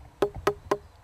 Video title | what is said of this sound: [전국시대]170822(화) 유통기한의 재해석, 개나 소나 콘서트, 늦여름 단양농산물 수박&마늘, 한여름 문화 바캉스, 아이스크림의 달콤한 변신 | 소리가 이렇게 맑은 소리가 나야 됩니다